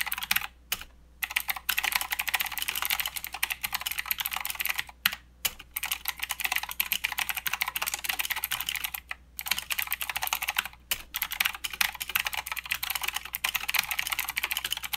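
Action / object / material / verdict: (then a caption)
tap / mechanical keyboard with plastic keycaps / plastic / none. Both hands type with their fingertips on a mechanical keyboard with plastic keycaps and blue switches. The result is a fast, continuous stream of sharp, bright clicks with very little low end. Brief pauses break up the typing every few seconds.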